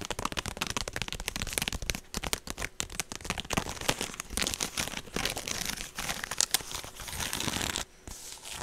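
Long nails and fingertips tap and scratch the woven surface of a small, hollow, apparently empty rectangular straw handbag with a long rope strap, held up close to the mic. A dense stream of dry, bright crinkling clicks and scratchy rustles runs almost nonstop, with a brief quieter dip near the end.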